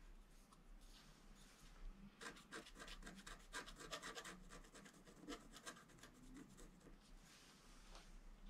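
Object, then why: Scratch-art paper board scraped with a wooden stylus. A wooden stylus held in the fingers scratches the black coating off a flat, roughly A4 scratch-art paper board sheet in a book, resting solidly on a table, working in short strokes. Quiet, dry, bright rasping scrapes come in an irregular, fairly quick rhythm, thickest in the middle of the clip and thinning toward the end.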